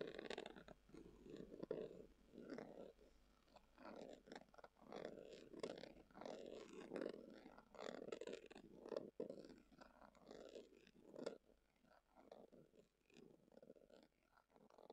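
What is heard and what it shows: Long acrylic nails scratch a hollow, brown, tubular glasses case covered in textured leather. The result is a quiet run of soft, muffled rasping strokes that swell and fade, warm in the mids with a faint bright edge.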